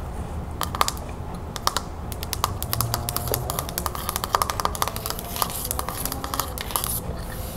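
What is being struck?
Painted wooden back of a hand mirror.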